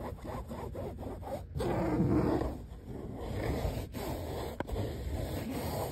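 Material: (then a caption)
Fabric. Fingernails scratch and rub grey mesh car seat fabric with a stitched seam band on a padded seat. The result is a soft, dull, low scraping and rubbing in quick, uneven strokes, swelling briefly louder in the middle before settling back to a steady scratchy rustle.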